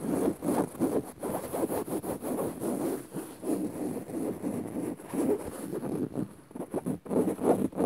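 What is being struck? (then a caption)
Woven fabric upholstered cushion. Long rounded nails on both hands scratch dark woven fabric upholstery on a soft padded cushion or sofa. Quick, uneven rasping strokes blend into a continuous rough, papery scratching that sits mostly in the low mids with a faint bright hiss on top. The strokes rise and fall in loudness throughout.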